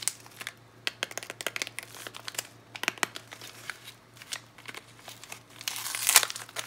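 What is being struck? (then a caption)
Plastic foil soap wrapper. Fingers with long nails crinkle and tear open the yellow Palmolive plastic foil wrapper on a bar of soap. Dense, bright crinkling and sharp crackles fill the clip, with a louder, sustained burst of tearing near the end.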